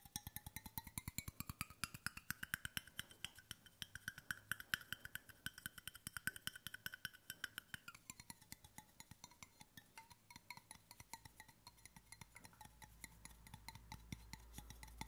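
Fingertips tap rapidly on the curved side and embossed bottom of a large, hollow, brushed stainless steel water bottle held close to the microphone. Each short, dry tap carries a faint metallic ring near 1.5 kHz that slides lower, to around 900 Hz, about halfway through. A low rumble swells beneath the taps toward the end.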